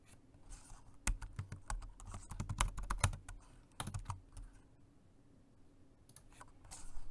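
Fingertips of both hands type on a dark grey plastic Jelly Comb multi-device keyboard, a rechargeable dual-mode 2.4G wireless and Bluetooth model. Quick, short key taps come in uneven bursts with a dull, low-heavy thock and faint bright clicks. There is a quiet pause near the middle before typing picks up again at the end.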